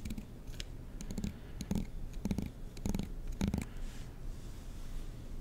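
The teeth of a black plastic comb are strummed with a fingertip and nail close to the mic, producing quiet, irregular bursts of dry, rapid ticking. Each strum has a soft low-pitched body under faint bright clicks, and it dies away almost instantly, with only low background hiss between strums.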